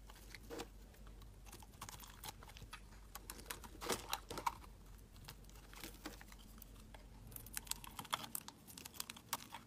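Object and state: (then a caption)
Bar soap being shaved with a blade. A utility knife blade shaves flakes off an opaque, palm-sized, peach-orange bar of solid soap held in the hand. It makes a quiet, steady run of dry, crisp scraping and crunching ticks, with sharper, brighter snaps scattered throughout. A low background hum sits underneath.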